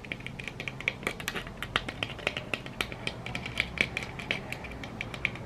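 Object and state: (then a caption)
Glitter-coated plastic egg tapped with nails. Long red nail tips on both hands tap rapidly on a yellow glitter-coated egg, likely hollow plastic. The result is a fast, uneven stream of dozens of short, bright clicks with a faint ring around 2.3 kHz that dies away almost instantly.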